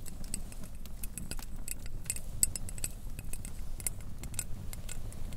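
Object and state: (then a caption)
Double-walled glass tea mug. Long dark-painted nails tap rapidly on the walls of a small, clear, hollow double-walled glass mug with a handle, held in both hands and filled with tea and a teabag. Each tap is a short, bright, high glassy tick that dies away almost instantly, over a steady low rumble.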